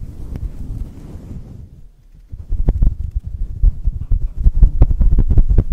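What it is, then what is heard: Faux fur microphone windscreen being rubbed. A small, hollow grey-and-white faux fur windscreen fitted over a black microphone is rubbed and squeezed with the fingertips and palms of both hands. A steady, muffled low rumble of rubbing fades to near silence around two seconds. Then irregular, louder deep handling thumps and scratchy pulses follow until the end.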